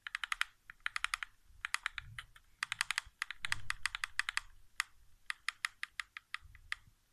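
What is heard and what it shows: A single fingertip taps the thumbsticks and center of a hollow white plastic PS4 game controller resting on carpet. Quick, dry, bright plastic clicks land in rapid bursts with short pauses between them. Each tap dies away almost instantly over a faint low rumble.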